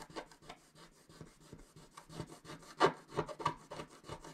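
A wooden stylus scratches across a flat coated scratch-art sheet in quiet, dry, irregular strokes. The scraping sound sits mostly in the midrange with a thin bright edge, and there is a short pause partway through. The strokes then grow slightly louder and more pronounced toward the end.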